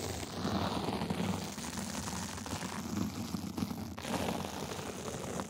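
A gold sequin fabric sleeve is scratched on its top and sides with two small white plastic tools. A dense, continuous scratchy rustle with a full low-mid body and a bright, hissy top is heard. The level stays fairly steady, with brief louder bursts as the tools drag across the sequins.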